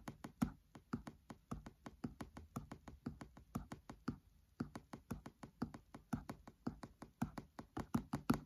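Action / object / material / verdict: tap / paperback book cover tapped with a thin pen / paper / none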